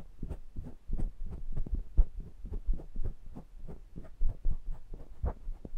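Fingertips press, tap and rub the round metal mesh grilles of two small metal pencil microphones. The result is a quick, uneven run of about seventeen soft, dull thumps that sit almost entirely in the deep low end with a throbbing, heartbeat-like quality. Each thump dies away almost instantly, with no bright ring.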